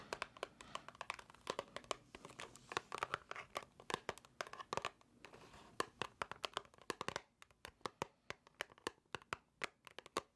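A small, white, hollow cardboard box held in the hands is tapped and scratched with long nails. The result is a dense run of crisp, dry clicks and papery scratching that die away almost instantly. The taps become sparser and more evenly spaced toward the end.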